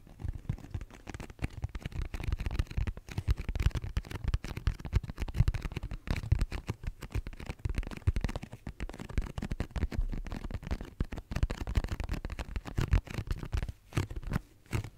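Long nails tap and scratch a hollow pink cardboard tissue box close to the microphone. Dense, rapid, dull thumps with a boomy low-end resonance blend with soft scratching, each tap dying away almost instantly, in a steady flurry throughout.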